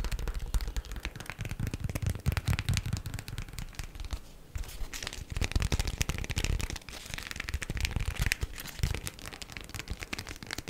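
A folded, thin, stiff green printed beeswax-coated cotton food wrap is tapped and scratched with long black acrylic nails. The result is a fast, dense stream of dry crinkling taps and scratchy rustles with a heavy low thump. Brief quieter dips occur around four and seven seconds.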